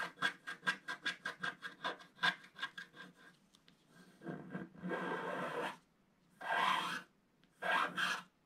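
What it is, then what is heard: Scratch-art paper being scratched. A wooden stylus scratches the black areas at the lower part of a flat scratch-art paper page, black coating over gold foil, in steady strokes. A quick run of about fourteen short, dry, bright scratches fades out, then gives way to longer sustained rasping passes and two final bursts of scraping.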